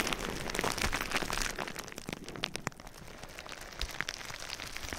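Clear plastic bubble wrap placed over the microphone is tapped and scratched with fingertips and nails. It makes a dense, rain-like patter of bright crinkly crackles, busiest in the first second and a half and then thinner and quieter. A few sharper clicking taps stand out near the middle and toward the end.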